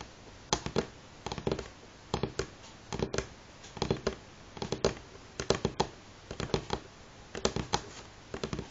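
Fingernails of both hands tap on a solid light pine tabletop in quick, rhythmic clusters of sharp, dry clicks. Each tap is brief with almost no ring and carries a hollow woody tone in the lower mids. Short quiet pauses separate the bursts, and a faint hiss sits underneath.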